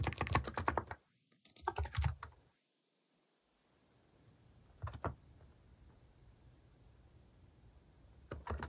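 Fingertips type on the plastic keycaps of a mechanical keyboard, producing quick bursts of short, dry clicks and soft low thuds. A fast flurry opens the clip, then comes a short pause and a second flurry, near silence, an isolated pair of keystrokes, and a final burst at the end.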